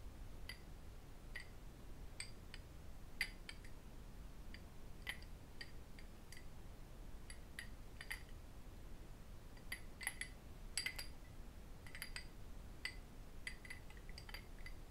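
A small, empty-looking cut-crystal drinking glass tumbler is held in both hands and tapped with fingertips and the metal rings worn on the fingers. Quick, bright ticks and clinks ring briefly around 2 kHz over a quiet low rumble.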